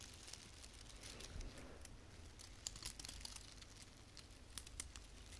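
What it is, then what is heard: Artificial plastic pine branch. A small frosted artificial fir branch with plastic needles is rubbed and scratched with long painted fingernails. The result is a soft, continuous crinkly rustling dotted with sharp, bright clicks and scrapes, over a steady low rumble.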